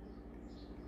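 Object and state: Nothing is struck.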